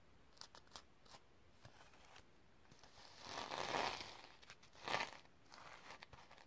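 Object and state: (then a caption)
Sequin-covered notebook. Long nails brush and scratch across a tilted sequin fabric notebook cover, flipping the sequins. Light crisp ticks and clicks give way to a longer, louder bright swishing sweep near the middle, then a second sharp swish and a few softer scratches at the end.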